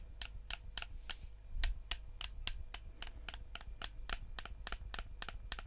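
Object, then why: Plastic gamepad buttons and shell. A black PS4-style plastic gamepad, hand-sized with a hollow shell, is held in both hands while thumbs click the face buttons and fingertips tap the plastic. A steady run of short, dry, bright clicks and taps dies away almost instantly over a constant low hum.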